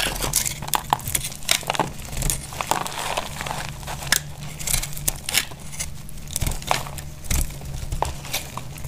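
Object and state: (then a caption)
Dry soap bar being scraped. A box-cutter blade slices and scrapes brittle flakes off the cut face of a solid, dry, palm-sized lilac soap bar held in the hand. Thin curls break away with a steady run of sharp, dry crackles and crunchy scrapes over a low, even hum. Each short burst cuts off almost instantly with no ring.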